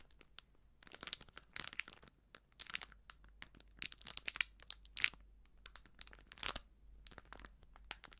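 A small plastic-foil sachet of baking soda, filled with powder and sealed with crimped edges, is crinkled and scratched with fingertips and nails. Quiet, bright, dry crackles and crinkles come in uneven bursts with short gaps, with almost no low end and no ring after each crackle.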